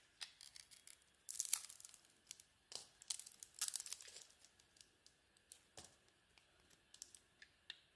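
A metal blade shaves a solid pink-brown glittery bar of soap with a cream core. The scraping comes as a series of short, bright, crisp shaving bursts, with longer, louder scrapes around the second and fourth seconds. There is almost no low end.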